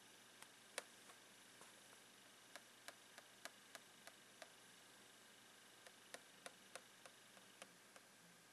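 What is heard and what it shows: The tip of a blue plastic pen taps the lid of a long, clear plastic retail box full of rolled socks. It makes a quiet, irregular string of short, bright, dry ticks that die away almost instantly, over a steady soft hiss. A brief pause falls midway before the tapping resumes.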